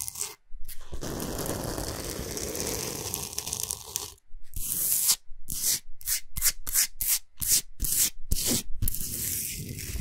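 Fingernails rapidly scratch and rub across the surface of a large, solid, flat Himalayan salt slab. A few seconds of continuous gritty, raspy scraping are followed by a brief pause, then a quick run of separate bright scratching strokes with short silences between them.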